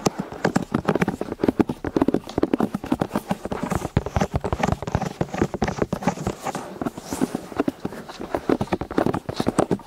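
Two people tap and scratch the solid silicone ear pieces of a white binaural microphone on a stand from both sides with their fingertips and nails, the ears sitting in plastic housings. A fast, dense stream of short, muffled taps fills the clip, mostly low to mid in tone with little high end. The rhythm sounds like hooves clip-clopping.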